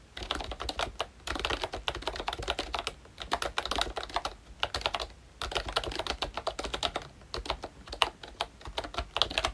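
Fingertips type steadily on a full-size Mickey Mouse retro membrane keyboard with a pink plastic hollow case and round black plastic keycaps. Rapid bursts of short, dry plastic clicks and clacks sound bright and papery, with a faint low thump under each press and almost no ring. Brief pauses separate the runs of keystrokes.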